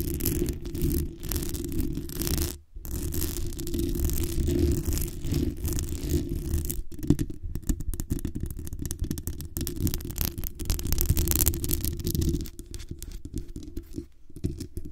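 Long nails scratch and tap the hollow metal mesh grille of a black USB condenser microphone, working from its top down its sides. The result is a dense, close, boomy rumble of scraping and rattling taps, mostly low in tone, with a few brief pauses.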